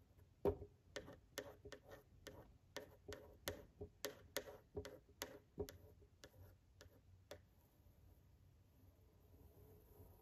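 A yellow wooden pencil held in the hand taps and scratches along the face and shoulder lines of a framed male figure drawing behind glass. Eighteen short, dry ticks with a faint mid ring come in an uneven rhythm over about seven seconds, then fade into soft, quiet scratching with a thin high hiss.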